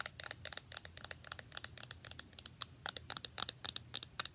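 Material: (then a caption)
Foil, cardboard. A small hollow cardboard box with a shiny silver foil surface is held in both hands and scratched and tapped with long nails. Quick, irregular bursts of bright, crinkly clicks and scratches with little low end repeat rapidly throughout.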